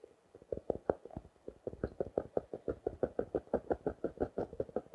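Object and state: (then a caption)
Plastic-wrapped paper notebook. Fingertips and nails tap and scratch the clear plastic-wrapped front of a small blue and orange paper notebook held up closed. A quick, uneven run of soft, dry, mid-pitched taps follows, each dying away at once with little low or bright content.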